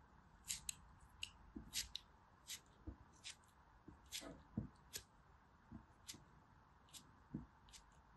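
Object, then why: Pressed soap block. A small, solid, green, gritty piece of pressed soap is held between the fingertips and repeatedly scraped and cut with a metal blade. Each stroke gives a short, bright, crisp scratch, some with a soft low thud, over a quiet background hiss.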